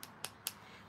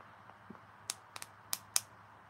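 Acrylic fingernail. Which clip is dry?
The first.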